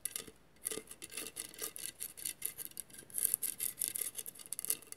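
Long matte nails scratch along the tile edges of a hollow vase covered in mirrored glass mosaic tiles. The result is quiet, rapid, bright, dry scratching in short rasping strokes with little low end, broken by a brief pause near the start.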